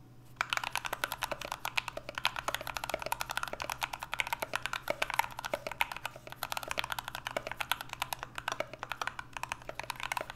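Two hands type with their fingertips on an NK65 65% mechanical keyboard with a solid aluminum case, Everglide Aqua King switches and cream PBT Notion keycaps, resting on a desk mat. A fast, steady stream of short, dry clacks is heard, with their body around 930 Hz and bright tops, over a faint constant low hum. Each keystroke dies away almost instantly.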